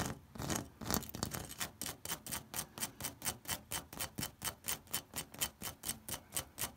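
A fingertip and nail scratch along the ridges of an orange, ribbed terracotta corrugated clay roof tile. The first second is a dense, blurred rasp, then it settles into a steady run of short, bright, dry scraping bursts at about two per second. Each stroke is gritty and broadband, with little low end and almost no ring between strokes.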